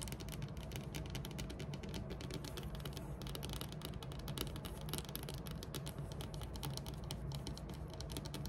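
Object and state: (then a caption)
Wooden tabletop tapped with nails. Long metallic nails tap quickly on a large, flat, solid dark wood-grain tabletop. The result is a dense, steady stream of short taps, with a low, woody thud under each sharp, bright click. Each tap dies away almost at once.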